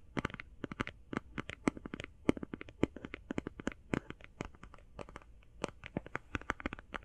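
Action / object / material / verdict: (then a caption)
tap / plastic eye shadow palette / plastic / none. Fast fingertip tapping on an eye shadow palette, recorded binaurally, produces a rapid, uneven stream of dozens of short, dry clicks. Each tap has a bright crack and a light mid-low body, and dies away almost instantly with no ringing.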